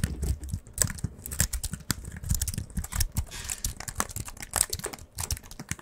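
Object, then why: Aluminium-framed keyboard with plastic keys. A slim, solid, thin white wireless keyboard with a silver aluminium frame and plastic keys is held upright in both hands and typed and tapped rapidly with the fingertips. It makes a dense, continuous stream of short clicks and taps with soft low thumps under bright, crisp key clatter. Each tap stops dead with no ring.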